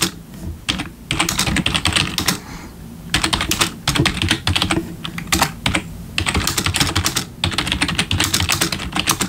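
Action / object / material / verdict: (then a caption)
tap / plastic membrane keyboard / plastic / none. Bare fingertips of both hands type on a full-size black plastic membrane gaming keyboard with RGB backlit keys resting on a wooden desk. Quick bursts of bright, clattering key taps with a soft low thud beneath are separated by brief pauses.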